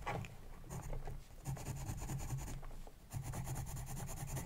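A pencil tip scratches and writes across the page of an open spiral-bound paper sketchbook resting on a desk. Steady, close scratching strokes come in three bursts with brief quieter gaps, giving a soft low rub under a faint bright rasp.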